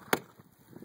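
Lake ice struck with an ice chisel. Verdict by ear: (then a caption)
Thin. A single small chop with an ice chisel on thin lake ice over a deep beaver run breaks right through, confirming the run is there. It is one sharp, brief crack that dies away almost at once, followed by faint low thumps.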